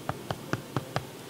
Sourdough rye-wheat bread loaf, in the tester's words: if it sounds Hollow that means your bread is ready